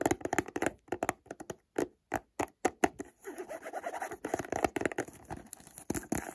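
Fingertips and nails tap and scratch along the edges and sides of a hollow white cardboard perfume box held close to the microphone. Quick, dry, hollow-sounding taps come in short clusters with brief silences between them. A stretch of continuous soft scratching follows before the tapping picks up again.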